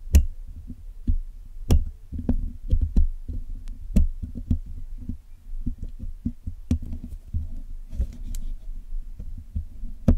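A hooked metal dental pick and metal tweezers, held in fingertips with long nails, scratch and pick at the black woven metal mesh grille of a Blue Yeti microphone, a hollow dome with pink fabric behind it, while it is being cleaned. The result is a string of deep, boomy thumps and short dull knocks with very brief ring, with occasional sharp, bright clicks of metal on the mesh.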